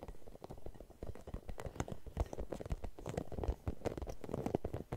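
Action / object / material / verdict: scrape / rubber spiky massage ball / rubber / none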